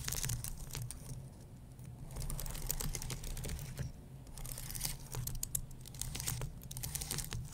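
Fingertips and nails tap and scratch across the lower key rows of a white low-profile computer keyboard with plastic keys on an aluminum base. The result is a dense run of quick, dry clicks and scratchy, bright rasping over a steady low hum near 137 Hz. The activity eases into brief quieter stretches around 1.5 and 4 seconds.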